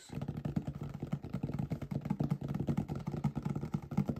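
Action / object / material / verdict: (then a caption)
tap / small cardboard product box / cardboard / none. Fingertips and nails tap and scratch the faces of a small, hollow, green printed cardboard box, the packaging for a computer mouse, held up close. It makes a quick, uneven run of dull, low, papery taps with short scratchy rustles between them, each tap dying away almost at once.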